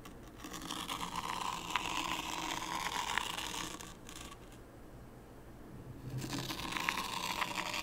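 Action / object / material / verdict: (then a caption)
scrape / fine sand in a wooden tray / sand / none. A small wooden rake is pulled through fine white sand in a shallow light-wood tray, scraping wavy lines. The result is a soft, gritty, bright scraping hiss with faint crackles. It comes in two long strokes separated by a quieter pause.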